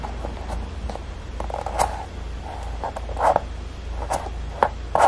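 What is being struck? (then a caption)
Foam resin clog. Fingertips rub and tap across the perforated toe of one empty, hollow dark grey Crocs clog made of soft molded foam resin with vent holes, then press along its rounded heel rim. Short squeaky rubs and soft dull taps come in an irregular pattern, with brief mid-pitched squeaks over a steady low rumble.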